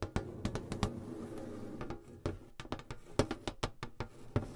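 Long blue acrylic nails tap on the lid of a medium rectangular metal tin box set between two pencil mics. The rapid, irregular taps are short and dull with a weighty low end and a faint ring near 420 Hz. Each one dies away almost instantly, and the sound stays fairly quiet throughout.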